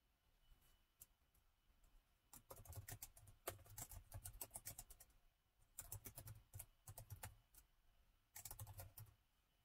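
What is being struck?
Plastic laptop keyboard.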